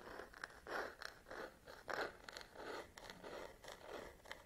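Long nails scratch and tap the textured rubber and plastic back of a black DSLR camera body held in one hand. The result is a quiet, irregular series of short, dry scraping strokes with slight clicks, concentrated in the midrange with faint bright edges and almost no low end.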